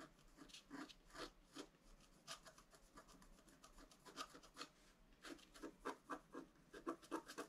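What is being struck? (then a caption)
Black-coated scratch-art paper scratched with a wooden stylus. A wooden stylus scratches the upper right antler into a flat scratch-art card of black coated paper. It makes a quick, uneven series of short, dry rasping strokes, about four per second. Each has a bright, papery edge and decays almost instantly.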